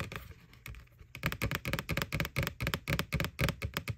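Fingernails tap the front wall of a white, hollow plastic McDonald's Boo Bucket with a ghost face. A quick, irregular run of short, dry taps, soft at first and then louder after about a second, each with a hollow low knock and a bright clicky edge. The taps die away almost instantly.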